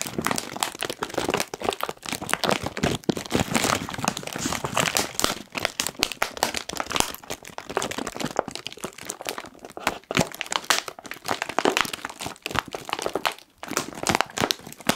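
A medium-sized Kettle crisps bag of foil-lined plastic, puffed and apparently full, is crinkled and squeezed with the fingertips of both hands. The result is a steady, dense stream of sharp, bright crinkles and crackles with very little low end, rising and falling in bursts throughout.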